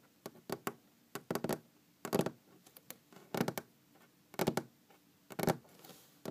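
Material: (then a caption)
Wood. Long green-painted fingernails tap on a large solid wooden tabletop in quick, uneven bursts separated by short pauses. Each tap is a dry, short knock with a low-mid body and a faint clicky edge that dies away almost at once.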